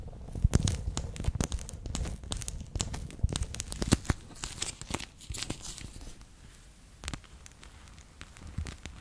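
A bear-shaped clear PVC pouch full of water beads is first squeezed in the hand, then laid flat and rubbed with fingertips and nails. Dense, crinkly crackles and sharp clicks ride over soft, low squelching thumps. The sound is busiest and loudest early on and thins to quieter, scattered scratches toward the end.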